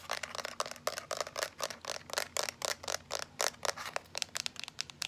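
A small teal plastic power bank, held upright, is tapped and rubbed with long nails and fingertips. The result is a quick, uneven run of dry, bright clicks and scratchy brushing with almost no ring, over a faint low hum.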